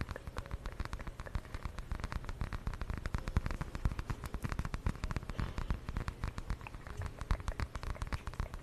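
A small, flat, purple patterned fabric zip pouch is held by the mic and scratched and tapped with long nails. The result is a dense, quiet stream of rapid, dry taps and scratches with a heavy low thump and almost no ring, like soft patter.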